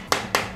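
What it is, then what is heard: Solid speaker housing. A hammer taps the front housing of an Eggel Terra 3 Neo RGB portable Bluetooth speaker twice to test its build quality. Each tap is a short, sharp knock that dies away within a fraction of a second. The housing is judged solid.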